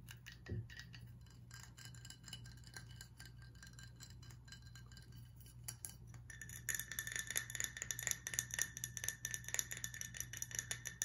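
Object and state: Glass whiskey bottle.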